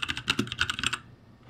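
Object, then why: Mechanical keyboard with plastic keycaps. Fingertips of both hands type on a backlit ROCCAT G65 mechanical keyboard with plastic keycaps. A quick run of sharp, bright plastic clacks carries a tone near 2.6 kHz and cuts off dry with almost no ring. After about a second the typing stops, leaving only faint low background noise.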